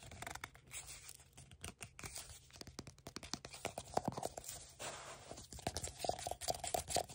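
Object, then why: Paperboard tube canister. A hollow brown and tan paper-board tube canister with a lid, held in one hand, is tapped and gripped on its sides and lid by fingertips and nails. The result is a quick run of soft, dry taps and scratchy scrapes with a faint hollow ring around 740 Hz and bright scratchy edges.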